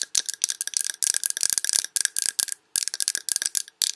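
Long red nails tap rapidly on a large glass Yankee Candle jar with a paper label, full of wax. The result is bright, crisp clicking in quick rattling bursts with brief pauses, almost no low end and no ring after each tap.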